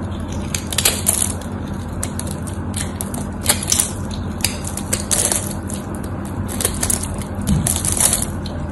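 A small metal blade carves and scrapes a dried, solid cream-white rectangular bar of soap held in one hand, its surface scored and cracked, chipping off crunchy flakes. Bright, crisp crunching and scraping bursts recur over a steady low hum.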